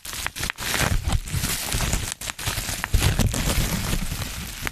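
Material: Plastic.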